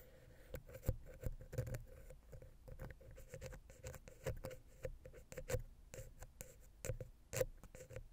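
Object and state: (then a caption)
Metal microphone head scratched and tapped. A wooden ear pick scratches and taps between the capsules of the silver metal X/Y microphone head on a Zoom H6. Close, dry scratching mixes with many short, low, thumping taps, each dying away almost instantly. A steady mid-pitched hum runs underneath throughout.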